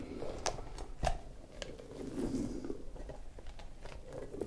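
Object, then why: Soft spiky rubber puffer ball. An orange soft rubber spiky puffer ball is squeezed and kneaded with fingers, its spikes and stretched surface rubbed against the skin. The result is a steady, quiet stream of soft rubbery squeaks and rustling, with occasional sharper clicks and bright squeaky streaks.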